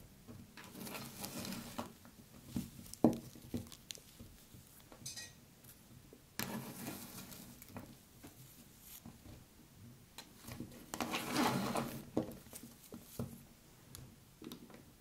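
A handful of multicolored kinetic sand is squeezed and crumbled by hands with long curved nails above a pile of it on a table. Soft, gritty crackling and patter come in a few longer bursts, with scattered sharp little ticks between them. The sand falls apart in quiet, dry crumbles with no ring.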